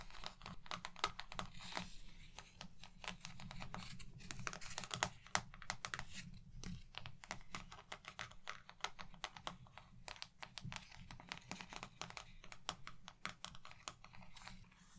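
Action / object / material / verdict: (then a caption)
tap / plastic paint palette / plastic / none. An empty round white plastic paint palette with wells, thin and hollow underneath, is held in both hands and tapped and scratched with long painted nails. Dense, quick, dry clicks and light scratching run steadily throughout, with a low hollow body under bright, sharp taps that die away almost instantly.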